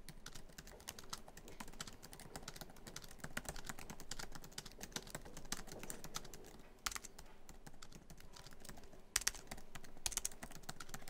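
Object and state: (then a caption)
Laptop keyboard with plastic keys. Both hands type quickly on a MacBook Pro keyboard, black plastic keys set in a silver aluminum laptop body, tapping many keys in a steady stream. The keystrokes are short, sharp clicks with a bright edge and a soft hollow thump beneath, a few louder taps standing out near the end.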